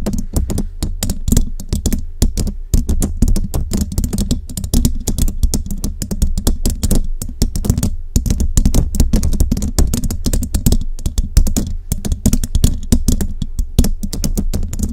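Long nails decorated with rhinestone jewels tap and scratch the hollow metal mesh grille of a large studio microphone, with both hands held close around the grille. A dense, fast stream of short, dry clicks and scrapes sounds heavy and boomy in the low end with faint bright ticks. Each hit dies away almost at once.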